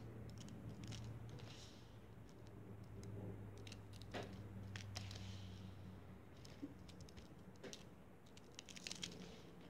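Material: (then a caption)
Sand. A loose pile of pink kinetic sand on a foil plate is squeezed, squished and crumbled apart with the fingertips of both hands. Soft, irregular crunching and crackling bursts with bright gritty edges sit over a steady low hum throughout.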